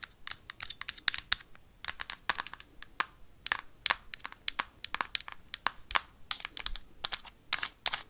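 Metal paperclips tap quickly on the hard plastic of a Nintendo Switch console with red Joy-Con. About forty sharp, dry clicks fall in an uneven, rapid stream. Each tick is bright and clicky, centered near 3.7 kHz, with almost no low end and no ring.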